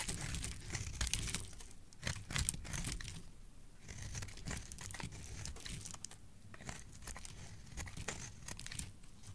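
A metal utility blade carves and scrapes thin curls off a solid orange, round, palm-sized bar of soap held in the hand. Crisp, crinkly scraping strokes come in a rapid, uneven stream, with a bright hiss over a soft, low rumble. A few louder cuts stand out near the start.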